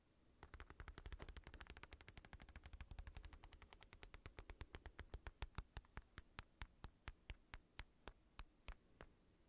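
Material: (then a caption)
Synthetic leather. Fingertips tap rapidly on the padded shell of a black, hollow synthetic leather boxing glove held above the mic. The taps make dull, low, thumpy knocks with crisp clicky edges and almost no ring. They start as a dense, fast flurry and gradually slow into evenly spaced single taps.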